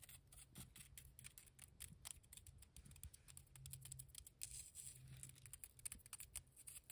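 Long nails tap and scratch the surface of a heap of grey, damp cement mortar, a solid mass with a rough, clumpy texture. Quick, quiet, dry clicks and gritty scrapes follow one another in a dense, uneven patter, each bright tick dying almost at once. A faint low hum runs underneath throughout.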